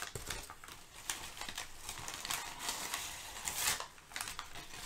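Thin, crumpled brown kraft packing paper is lifted and crinkled by hands. The result is a steady run of bright, crackling rustles with a few louder crinkle bursts and little low-end weight.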